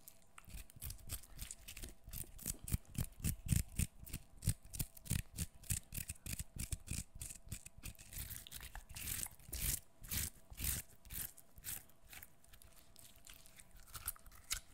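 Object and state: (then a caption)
Fresh cucumber being peeled by fingernail. Fingernails scrape and tear at the skin and exposed pale flesh of a solid, fresh peeled cucumber held close to the microphone. Quick, irregular wet scratching and ripping bursts repeat rapidly for the whole clip, with bright crackly detail over a low, soft body and a faint steady hum underneath.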